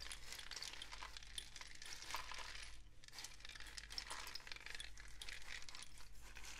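A long hollow cardboard rain stick, a tube with a mesh-wrapped end and loose filling inside, is gripped by hand near the mesh end and tilted and shaken. It makes a steady, bright, dense patter of tiny clicks and trickles over a low, constant hum, easing briefly near the three-second mark before the rush picks back up.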